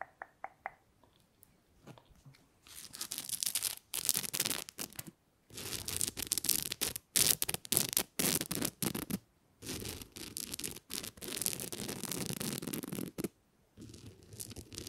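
Long nails scratch and tap across the surface of a flat gold glitter-coated plastic star ornament held close to the mic. A few light taps lead into bursts of bright, crackly scratching, broken up by short silences.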